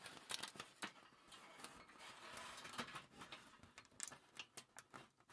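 A crumpled sheet of thin aluminium foil lies on a table while fingers with long nails crinkle it and pinch its edge. Sharp, bright crackles and snaps come in quick bursts over a soft, continuous rustle, with very little low end.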